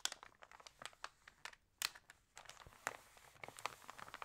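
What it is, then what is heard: Glossy paper magazine. Fingertips rub and smooth the glossy paper pages of an open Libelle magazine, then turn a page. The result is a quiet run of crisp, bright crinkles and short papery scratches, with a louder rustle as the page turns.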